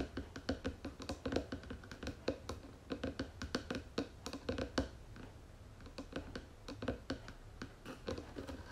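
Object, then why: Wooden box lid. Long fingernails tap rapidly on the flat wooden lid of a round wooden jewelry box with gold trim. Quick, dry, hollow clicks with a mid-pitched wooden ring come in quiet bursts, easing briefly around the middle before resuming.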